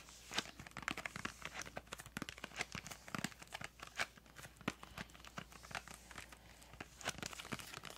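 A small, hollow, printed yellow-green cardboard crayon box is held up in both hands and tapped and scratched with long acrylic nails. Quiet, rapid, irregular taps and dry, crinkly scratching sound bright and papery, each tap dying away almost instantly. A faint steady low hum sits underneath.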